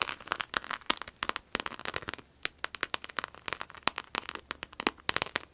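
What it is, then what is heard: Vinyl wallet, crinkly surface. A red glossy croc-embossed vinyl wallet is held and flipped in the hands while long acrylic nails scratch and squeeze its textured surface. Quick, dry, crinkly crackles and clicks come in an irregular patter, bright and thin with almost no low end. Each snap dies away at once, giving a rain-like crackling texture.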